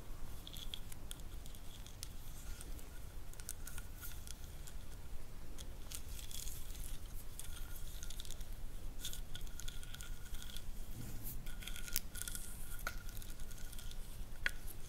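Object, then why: Ridged wooden stick. A small, light-colored, solid wooden massage stick with carved ridges is held in the hands and scratched and tapped with long nails along its ridged surface. Quick, irregular clicks and scratchy scrapes run throughout, with bright, crisp transients over a low, steady rumble.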